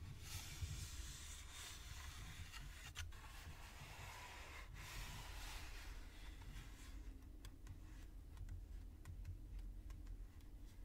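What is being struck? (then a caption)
Printed cardboard box. Fingertips and nails tap and rub a dark gray, printed, book-sized hollow cardboard Nintendo Switch box held in one hand. Soft scratchy rubbing and a bright hiss sit over a quiet, low, dull rumble. In the second half, sharp little taps and clicks become more distinct.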